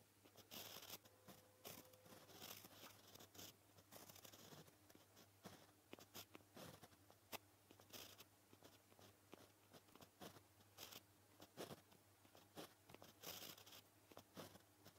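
A white gel pen tip scratches across a flat, solid black paper sheet while writing Japanese text. Quick, dry scratchy strokes with bright, high-frequency hiss come in uneven bursts over a faint steady low hum.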